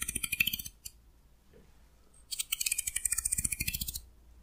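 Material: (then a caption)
Wood. A fingernail runs along a solid wooden hair comb held at an angle, plucking its teeth in a quick run of dry, bright ticks with a pitch near 2.6 kHz. There is a short burst, a lone tick, a near-silent pause, then a longer, steadier run. Each pluck stops almost instantly with no ring.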